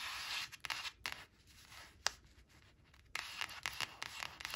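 Long acrylic nails rub and scratch quickly across a thin, flat laminated cardboard flash card printed with "5 five," resting on a fabric surface. The sound is a bright, dry, hissy scraping broken by sharp little ticks of nail against the glossy card, with almost no low end. It fades to a softer rubbing in the middle before picking up again into brisk, loud scratching.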